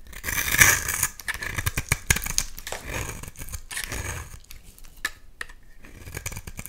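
A utility knife blade scrapes and cuts layers off a hand-sized, solid purple and white striped bar of soap. Crisp, bright scraping and slicing strokes come in quick bursts, loudest near the start, then settle into shorter, softer cuts with sharp clicks between them.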